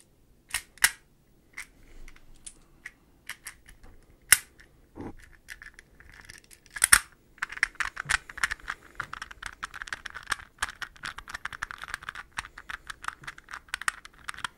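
A hollow, translucent green plastic puzzle ball, palm-sized and made of interlocking hexagonal pieces, is held in one hand and tapped and scratched with the fingernails of the other. Sparse, sharp, bright plastic clicks and brief scratches come first, then from about seven seconds they turn into a dense, rapid patter of light taps and scratching that continues to the end.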